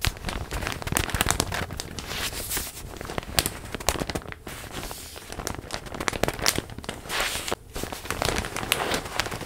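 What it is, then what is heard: Crinkled plastic packaging bag. A large printed plastic zip bag holding a stuffed pillow is held close and crinkled and squeezed with hands and nails. Dense, sharp crackles and crinkles with bright hiss run continuously, with brief louder snaps and a short dip near the middle.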